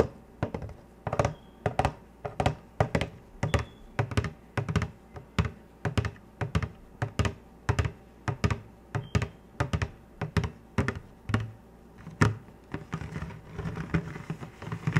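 A large clear plastic soda bottle, full of bright green liquid and embossed with lettering, is tapped close to the microphone with fingertips and painted nails through fingerless gloves. A steady stream of quick, dull, hollow thunks with sharp clicky attacks is heard, heavy in the low end and dying away almost instantly. The taps grow softer and more clustered toward the end.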